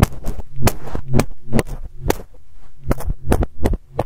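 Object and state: Fluffy fabric microphone cover being plucked.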